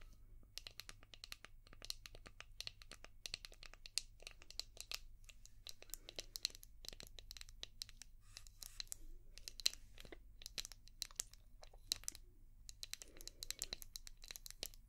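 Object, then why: Hard plastic shell-shaped brush. Long painted nails tap and scratch a palm-sized, translucent orange hard plastic brush shaped like a seashell, with a ridged back. Quick, dry, bright clicks and raspy scrapes come in a dense, uneven stream over a faint low hum.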